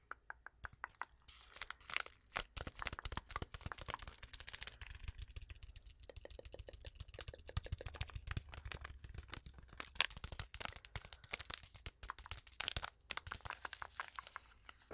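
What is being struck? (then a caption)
Foil-lined paper tea sachet. Long acrylic nails tap and scratch on a small, flat, sealed Twinings tea packet, a foil-lined paper sachet still full with its tea bag. Rapid, dry clicks and papery crinkles follow one another in dense bursts, each sharp and bright with almost no ring, over a faint low hum.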